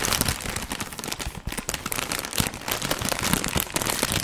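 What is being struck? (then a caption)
Plastic foil crisp bag. A medium, sealed Funny-frisch crisp bag made of plastic foil and full of crisps is held in the hands and crinkled and squeezed with the fingers in front of the mic. Dense, bright crackling and rustling runs continuously for about four seconds, with sharp crinkles over a low thump of the crisps shifting inside.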